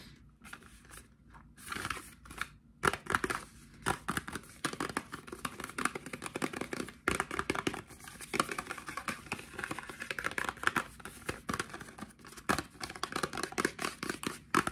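A small, hollow printed cardboard face-cream box is held in both hands while fingertips and short nails tap and scratch its sides and edges. The result is a quiet, continuous stream of dry, rapid taps and papery scratches with a crinkly texture. Each tap dies away almost instantly.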